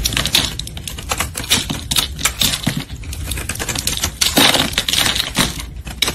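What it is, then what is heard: Soap bar being shaved. A solid red soap bar held in gloved hands is shaved with a metal utility blade, sending curls falling away. The blade makes a quick run of crisp, bright scraping clicks and crackles, with a steady tone near 3.8 kHz and little low end.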